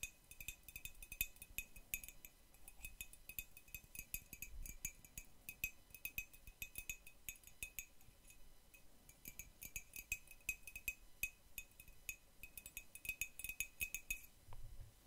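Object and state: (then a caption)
Ceramic mug. A white printed hollow ceramic mug, held in the hand, is tapped rapidly with metal paperclips worn on long nails. The result is a dense stream of quiet, bright clinking taps with a ringing tone near 2.5 kHz. Each tap dies away almost at once.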